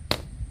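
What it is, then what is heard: Full feed bin section, solid sound. A PVC pipe with a hard end taps once against the side of a metal feed bin at a section full of feed, giving a single short, dull, solid-sounding knock that dies away almost at once. The solid tone is used to estimate the feed level inside the bin.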